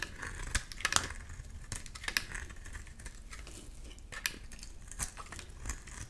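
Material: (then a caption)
Soap. A solid pink and white striped soap bar, held in the hand, is scraped with a box-cutter blade in repeated strokes, shaving off thin layers. Soft, dry scraping rasps come with brief, bright ticks and crisp clicks over a low, quiet background.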